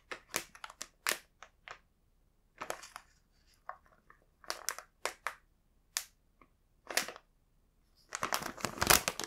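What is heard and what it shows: Fingertips handle and flip a large, full Home Pie plastic snack bag, producing short, bright crinkling bursts separated by brief pauses. Near the end the crinkling becomes a denser, louder stretch of continuous rustling.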